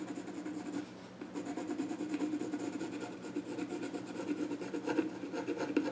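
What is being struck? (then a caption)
Pencil on the flat wooden top of a small stool. A pencil rubs and scratches sketch lines onto the grain of the flat top of a small wooden child's stool. The result is a steady, dry scratching and rubbing texture with a low-mid body, a brief softer lull early on, and small bright scratchy accents scattered throughout.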